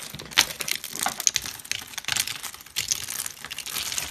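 Pale yellow, brittle strips of dry soap shavings are crushed and crumbled in a hand with purple nails, and the flakes fall onto a wooden table. The sound is a dense run of dry, crisp crunches and crackles, bright and high, with quick snaps and almost no low end or ring.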